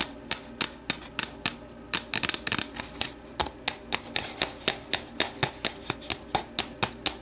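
Long nails tap the sides of an empty, hollow, translucent plastic deli container standing upright on a wooden table, then reach inside to tap its interior. Sharp, bright clicks come at a steady pace, with a quick flurry of rapid taps partway through. Each tap stops almost at once with a light hollow plastic tone.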